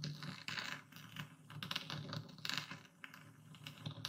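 A dark speckled stone pestle grinds and crushes coarse white epsom salt in a full wooden bowl, moving in circles and tilting through the crystals. Dense, gritty crunching and scraping comes with rapid bright crackles and clicks, swelling and easing as the pestle works, with a low rumble beneath.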